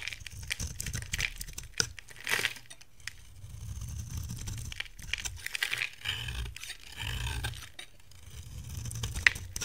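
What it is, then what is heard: Dry bar soap being shaved. A metal box-cutter blade scrapes and shaves flakes off the face of a solid, rectangular, hand-size dry bar of soap, orange inside with a green outer layer, held in one hand. Dry, crackly scraping strokes come in bursts with a bright hiss and a soft low rumble, and the shavings pile up on a white table.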